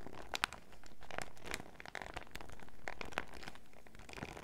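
Fingertips and nails squeeze, crinkle and tap a small clear fruit-print PVC zip pouch full of sachets, held close. Sharp, bright crinkles and clicky taps come in scattered bursts over a low, steady background rumble.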